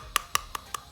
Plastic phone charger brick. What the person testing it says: diketok kan suaranya kan, nah sepertinya kan kosong itu ya